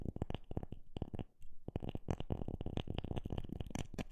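A wooden object is tapped in a rapid, uneven series of short, dry knocks with almost no ring. The taps sit mostly in a deep low thud, with brief faint clicks above it. A short pause near the middle breaks up an otherwise dense run of strikes.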